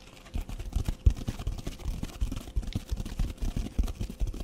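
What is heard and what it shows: A red foam sponge with a green scouring top, held close to the mic, is scratched with fingernails and squeezed a little. This makes a rapid string of soft, muffled, low-pitched scratching thuds with almost no bright edge. Each one dies away almost instantly, and a faint steady tone sits underneath.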